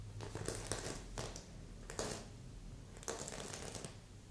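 A long nail scratches across the sequins of a stuffed red and silver sequin heart pillow with a ribbon loop. The result is bursts of bright, crinkly rasping over a low steady hum, with the strongest strokes near the start, around two seconds, and just after three seconds.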